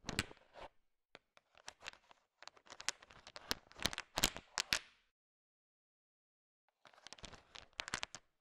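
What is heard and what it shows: A thin wooden stick stirs and taps a bowl filled with a heap of small, hard, sugar-shelled candy-coated peanut chocolates (peanut M&Ms), mixing them. Bright, dry clicks and rattling patter come in dense bursts for about five seconds. After roughly two seconds of silence, a shorter burst of stirring follows.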